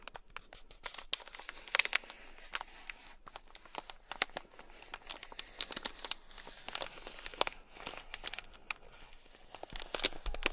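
A small sealed clear plastic bag, packed full of tiny gold beads, is scratched with a thin black stick. The result is a dense run of crisp, bright crinkling and scratching clicks with small bead rattles. The clicks are very short, with almost no ring and little low end.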